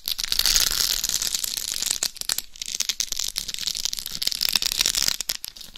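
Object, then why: Rhinestone-studded hard shell of a dummy head microphone. Long nails scratch across the forehead, face and top of the head of a life-size binaural dummy head microphone covered in rhinestones over a hard shell. The result is a dense, bright scratching and clicking texture with quick crackling ticks, easing briefly near the middle before building again.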